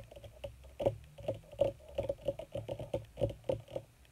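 Long red nails on both hands rapidly tap and scratch across a wrinkled black leather (possibly faux) sheet. Quick, dry, soft clicks patter in an uneven stream, centred around a muted tone of about 570 Hz. Each tap dies almost instantly, with faint scratchy rustling in between.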